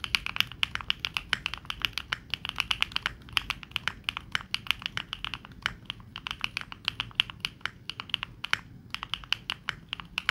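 A Neo65 65% mechanical keyboard with plastic keycaps is typed on rapidly with the fingertips of both hands. The result is a fast, steady stream of short, crisp clacks with almost no ring, bright and centered around 2.8 kHz with little low end.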